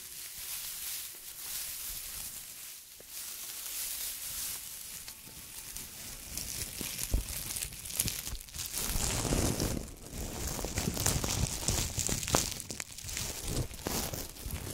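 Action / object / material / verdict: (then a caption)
scrape / plastic tinsel garland / plastic / none. A long, light and fluffy green and silver metallic plastic tinsel garland is held in both hands close to the microphones and squeezed and rubbed with the fingertips. It produces a dense, continuous crinkling and rustling with a bright, hissy top and soft low rumble. The sound grows fuller and louder in the second half, with rapid irregular crackles throughout.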